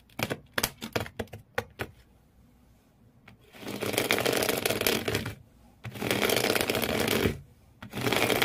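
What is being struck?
Corrugated cardboard shoe box.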